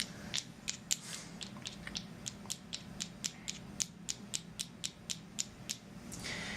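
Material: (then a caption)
Shell. Two seashells collected on a beach in Siesta Key are tapped together, producing about twenty quick, sharp clicks at an uneven pace. Each tap is a bright, high-pitched tick with almost no ring, over a quiet background hiss that swells slightly at the end.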